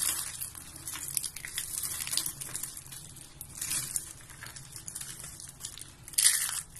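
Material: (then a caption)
Soap. Both hands squeeze and crush yellow and white dry soap curls into flakes. The result is a steady, dense, bright crunching and crinkling with sharp crackles, swelling into louder bursts of crushing near the start, middle and end.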